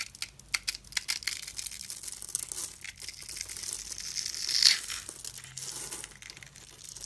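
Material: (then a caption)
Soap. A metal utility-knife blade carves and scrapes the grid-scored surface of a solid rectangular brown bar soap held in the hand, with crumbs falling away. The sound is a dense run of dry, crisp scratching and crackling, almost entirely high and bright with almost no low end. A louder, longer scrape swells near the middle before the carving settles back into quieter crinkling cuts.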